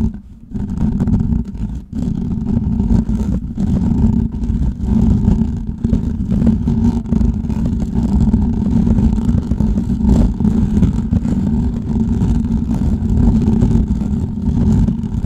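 Fingertips and nails of both hands scratch and rub the hollow metal mesh head of a large desktop microphone throughout. The result is a dense, continuous rumbling scratch, heavy in the low end with a steady hum-like tone near 121 Hz and little bright content.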